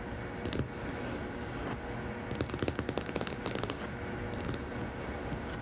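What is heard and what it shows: A large, thick, closed hardcover herpetology book with a glossy laminated cardboard cover lies flat on a table while long manicured nails and fingertips of both hands tap and scratch the cover. Quick, sharp clicking taps cluster in a rapid burst at the middle, over a steady low background hiss and faint scratching.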